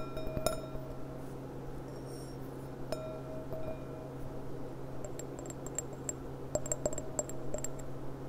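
Long dark-painted nails tap and click on the bowl of a clear, thin, empty, hollow stemmed wine goblet with a gold rim, lying on its side on a cloth-covered table. Each tap gives a short glassy ring near 625 Hz, with a sharper burst of bright clicks later on, over a steady low hum.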